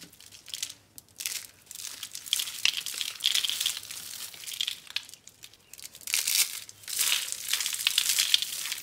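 A small white, blue and yellow rolled dry soap curl rose is squeezed and crushed in both hands with the fingertips, breaking into crunchy flakes. Dry, crisp crackling and crunching come in uneven bursts with short quieter gaps, the sound almost entirely high and bright with no low end. Other soap roses sit untouched nearby.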